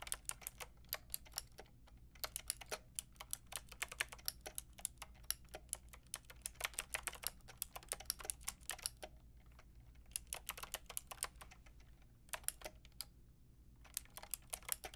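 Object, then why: Plastic mechanical keyboard with round keycaps. Fingertips and long nails type on a full pink, grey and white mechanical keyboard with round plastic keycaps, producing rapid, bright, sharp clacks that stop instantly. Bursts of typing are broken by brief pauses near 2, 9 to 10, 12 and 13.5 seconds, over a faint steady low hum.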